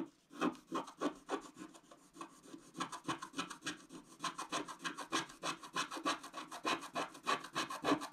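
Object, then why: Black-coated scratch-art paper scraped with a wooden stylus. A wooden stylus scratches long strokes across the middle of a black-coated scratch-art paper page. Quick, repeated dry rasping scrapes follow one another in a loose rhythm, each with a bright, papery hiss over a faint low-mid tone. The strokes die away quickly with almost no ring.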